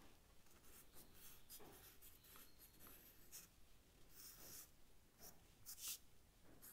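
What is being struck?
Charcoal stick on paper sketchbook.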